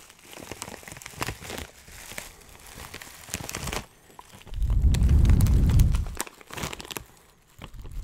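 Fingertips crunch and crinkle a clear plastic bag filled with dry herbs, making bright, crackly rustles in quick, uneven bursts. Midway, a louder, deeper rumbling swell rises for about a second and a half, then the crackly crinkling returns and trails off quietly.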